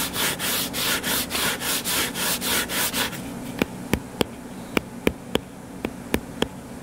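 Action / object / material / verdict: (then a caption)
scrape / closed hardcover book / cardboard / none. Fingertips and nails scratch the cover of a solid, closed hardcover book lying flat on a table, making about three seconds of rhythmic, bright, hissy scraping strokes. These are followed by nine sharp, dry taps spaced unevenly over a faint steady low hum.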